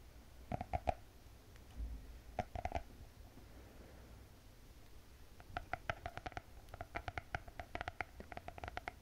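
Long painted fingernails tap and scratch the closed, glossy hard cardboard cover of a spiral-bound notebook with a gold cat print. Quick clusters of short, sharp, hollow clicks, with a clear tone around 700 Hz, come in bursts early on and then more densely toward the end. Between them sits a faint, low background rumble.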